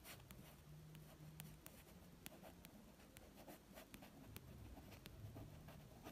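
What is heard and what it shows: A fingertip wearing a ring traces and taps across the red and white card front cover of the paperback novel "Elizabeth is Missing," standing upright on a shelf. Soft, scratchy rubbing is broken by short, crisp taps with bright clicks, over a faint low hum. The sound stays very quiet throughout.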